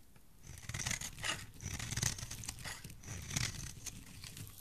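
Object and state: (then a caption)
Bar soap being shaved with a blade. A solid bar of soap with red-pink and white layers, held in the hand, is shaved with a metal utility blade. Repeated crisp, crunchy scraping strokes rise and fall, each with a bright, hissing edge over a soft low rumble.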